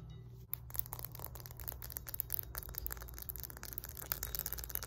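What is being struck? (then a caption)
Cast iron kettlebell. Long nails tap and scratch a solid 20 lb cast iron kettlebell resting on a lap, moving over its body, handle and embossed face. After a brief quiet start, quick bright clicks and dry scratching rasps come in a steady, busy stream over a low background hum, each tap dying away almost instantly.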